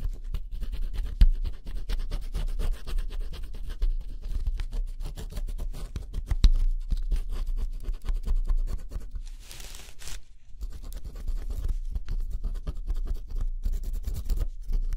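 A wooden stylus held in the fingers scratches the black coating off a flat cardboard jigsaw puzzle, revealing blue underneath. A steady, dense stream of rough scratching fills the clip, heavy in the low end, with a brief airy hiss and a short lull just before the scratching resumes.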